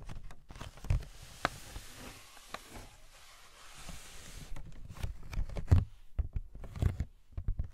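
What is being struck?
Cardboard toy box.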